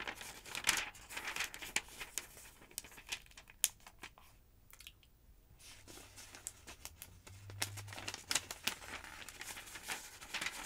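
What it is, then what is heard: Paper phonebook pages. Long-nailed fingers turn and flick the thin paper pages of an open, thick paper phonebook resting on a wooden table. Bright, crisp crinkles and sharp flicking snaps come in quick bursts, with a brief quiet lull in the middle, and the page-turning rustle then resumes until the end.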